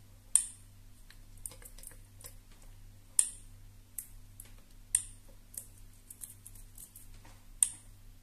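Long nails tap along the plastic housing of a black flat iron hair straightener with purple plates. The result is a sparse series of sharp, bright clicks, a few louder than the rest, each dying away almost instantly. A steady low hum runs underneath throughout.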